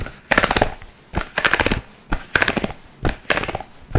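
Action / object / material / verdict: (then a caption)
scrape / segmented plastic fidget slug toy / plastic / none. A rainbow, segmented plastic fidget slug toy with hollow segments is twisted and flexed in both hands, making its joints click. Bursts of rapid, crisp clicking ratchet through the clip, with thumping lower knocks and bright, papery rattling. Each burst has a sharp click centered around 1.5 kHz and decays almost instantly.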